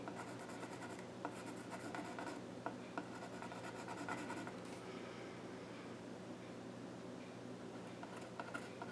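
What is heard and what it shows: A pencil scratches lines near the far edge of the flat top of a small wooden child's stool. A quiet, steady scratchy rasp runs throughout, with occasional brighter streaks, a few faint sharp ticks and a constant low hum underneath.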